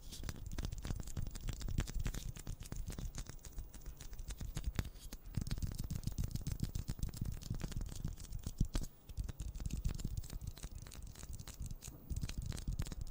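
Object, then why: Plastic ball. A pink plastic ball is tapped rapidly and steadily, producing a dense stream of short, dull, hollow taps that are mostly low and thuddy with only faint bright clicks. The tapping continues throughout, with a brief quieter dip around the nine-second mark.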